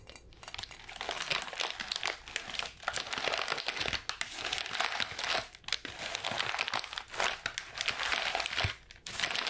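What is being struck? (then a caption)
Sheet of wrapping paper. A sheet of light grey-white wrapping paper is balled up and crumpled in the hands, crinkled with fingers and palms. Dense, bright crackling rustles continue for the whole clip, with brief quieter pauses between bursts.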